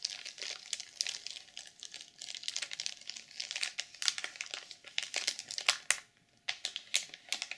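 Long purple nails scratch across the cover of a black sequin-covered journal sealed in clear plastic film and lying flat, producing bright, dense crinkling and scraping. The scratches come in quick irregular bursts, with a short quiet pause near the six-second mark before the crinkling resumes.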